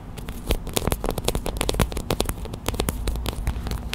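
A small clear plastic hot/cold pack filled with white gel beads is held and squeezed while long white acrylic nails tap on it. The result is a fast, uneven run of short, sharp clicks and crinkly crackles that flash up bright and die away almost instantly, over a steady low rumble.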